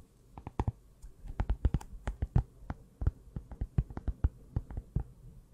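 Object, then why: Cardboard notebook cover. Long nails tap and scratch the cardboard cover of a closed small pink notebook held just above a Blue Yeti microphone without touching it. The result is an irregular run of short, dull, low thuds with very little brightness and almost no ring.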